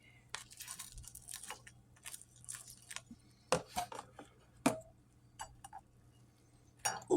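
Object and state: Crispy baked burrito.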